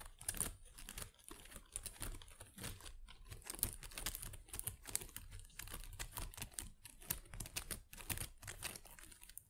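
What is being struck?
Plastic leaves of an artificial potted plant.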